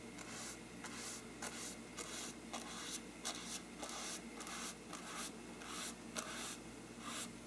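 A small brush held in the fingers is rubbed and scratched across a large, hollow, bell-shaped faux-parchment paper lampshade. The result is a steady run of dry, papery scratching strokes with bright, hissy upper tones and a faint hollow resonance. The strokes repeat at an uneven pace over a soft background hum.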